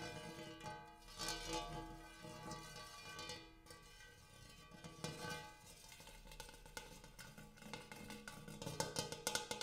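Fingernails tap rapidly on the inner surface and rim of a large, empty, hammered brass-colored metal bowl. The result is a quick, uneven patter of bright metallic clicks over sustained ringing tones centered around 1.5 kHz, with the taps growing sharper and more distinct near the end.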